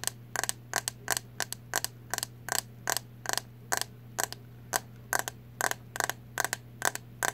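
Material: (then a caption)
Plastic. Long acrylic nails tap the hollow, translucent green plastic back of a hairbrush held up close, producing 26 sharp, dry clicks in quick, uneven runs. Each tap is bright and clicky and dies away almost instantly. A steady low hum runs underneath throughout.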